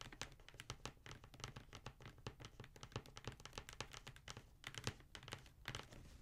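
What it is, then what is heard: Cardboard shoe box. Fingertips and nails tap quickly across a black Jordan cardboard shoe box, making a fast, irregular run of short, dry taps with a soft low thump under bright clicking edges. Near the end the box is turned over, and the tapping continues with a few louder knocks.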